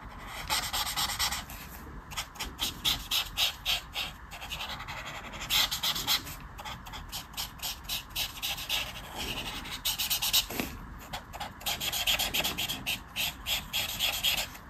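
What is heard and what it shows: A felt-tip brush marker held in the fingers is rubbed and scratched across a thin paper page of a colouring book lying flat on a table while colouring in a mandala design. Bright, dry scratching strokes come in quick, uneven bursts of back-and-forth rubbing, with brief pauses between passes.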